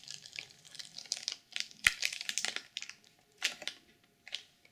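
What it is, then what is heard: Sequin journal in plastic wrap, scratched. Long purple nails scratch and tap the cover of a black sequin-covered journal sealed in clear plastic film, with the hands resting at the edges at one point. Bright, crinkly scratching comes in short bursts separated by brief pauses, with one sharper tap partway through, and nothing rings on after each sound.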